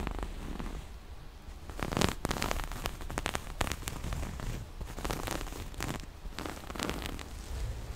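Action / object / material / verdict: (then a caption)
scrape / small cloth pouch with zipper / fabric / none. Long nails scratch the surface of a small, soft, hollow floral-print cloth pouch and rub along its black zipper edge. The result is a dense, continuous run of dry scratching and crackling, with sharp bright rasps over a steady low rumble.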